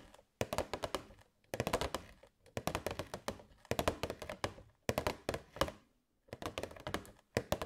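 A hollow, transparent plastic box holding LED fairy lights is held in both hands and tapped with long white nails. About 37 quick, dry plastic taps come in six fast bursts with short pauses between them. Each tap is a short, hollow thunk with a midrange tone around 590 Hz that dies away almost at once.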